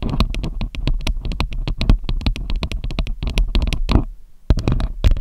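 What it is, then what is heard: Metal microphone grille. Long acrylic nails tap and scratch directly on the hollow metal mesh grille of a silver Samson USB microphone. Rapid, sharp clicks carry a deep, thumping low-end body, with a brief near-silent pause just past four seconds before the tapping resumes.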